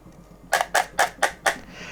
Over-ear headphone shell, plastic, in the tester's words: Vous sentez comment ça sonne creux ?